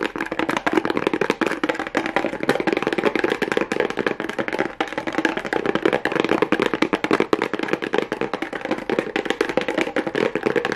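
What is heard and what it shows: Long nails tap and scratch rapidly on a small, hollow kraft cardboard box covered with pink plastic rhinestone mesh. The result is a dense, continuous stream of dry, clicky taps with hollow midrange body, little bass, and a light scratchy texture, each hit dying out almost instantly.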